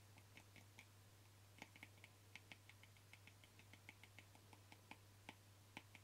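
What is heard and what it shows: Fingernails, kept short, quickly tap the plastic lid of a small white plastic cream jar held in one hand. About two dozen light, dry clicks land in an uneven, rapid patter, each with a bright edge and almost no ring. A steady low hum runs underneath throughout.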